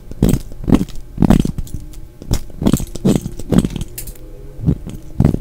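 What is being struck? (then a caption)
Glycerin soap bar. A solid red translucent glycerin bar of soap held in the hand is shaved with a utility knife blade, peeling off thin flakes. Repeated short, dull scraping strokes sound in an uneven rhythm, each a soft crunchy rasp weighted toward low tones with a brief bright edge.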